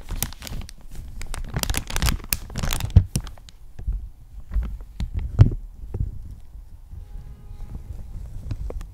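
A large, thin, empty clear plastic bag is pulled down over a desktop microphone and crumpled with both hands, brushing against the microphone as it moves. Dense crinkling and crackling with sharp, bright snaps comes in irregular bursts over a deep low rumble of handling noise. The sound fades to quieter rustling near the end.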